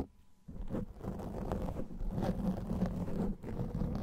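A black foam microphone windscreen is scratched rapidly with the fingernails of both hands. After a brief near-silent start, a dense, continuous rustling and rumbling scratch fills the clip, mostly low and muffled, with a short dip before it resumes.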